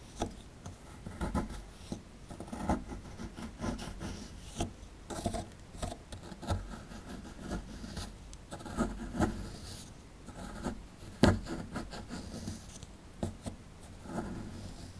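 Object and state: Plaster dig block being scraped.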